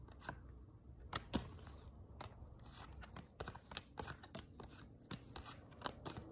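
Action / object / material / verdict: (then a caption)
flick / paper tarot card deck / paper / none. A stack of thin paper tarot cards is shuffled and flicked between the hands with the fingertips, above a spread of cards lying on the table below. Soft papery rustling runs underneath a scattering of sharp, dry, bright snaps that stop instantly, with a few louder flicks standing out. The overall level stays quiet.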